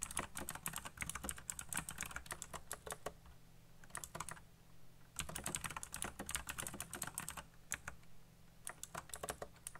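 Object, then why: Plastic mechanical keyboard. Fingertips type rapidly on a black plastic RGB mechanical keyboard, producing bursts of sharp, bright clicks with very short decay. The typing comes in quick runs broken by brief pauses, over a steady low hum.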